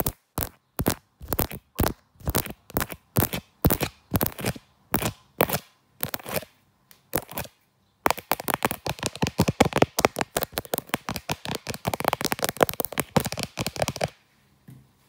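Long black nails tap and scratch the back of a smartphone in a brown leather case with a black grip, near the camera lens. Spaced, crisp clicks come first, then after a short pause a fast, dense flurry of tapping and scratching that runs for about six seconds before ending with one faint tap. The clicks are dry and bright, with almost no ring.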